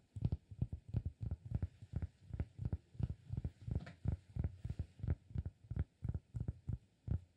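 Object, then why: Cork disk. Fingertips tap the face of a round, flat, solid cork disk held in one hand. They make a steady run of soft, dull, low thuds that die away almost instantly, in a loose, uneven rhythm of roughly one and a half taps per second.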